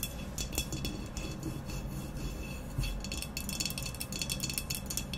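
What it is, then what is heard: Ceramic vase. Long nails tap rapidly on both sides of an upright, hollow, black textured ceramic vase resting on a white cloth. The result is a dense, continuous stream of quick, bright clicks with very short ring, layered over a steady low rumble.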